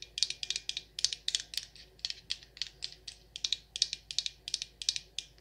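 Long nails tap the glass sides of a Rose Water & Ivy glass jar candle with a black lid, full of wax. About 29 quick, bright clicking taps come in uneven bursts, all high with no low end. Each tap stops almost instantly with barely any ring.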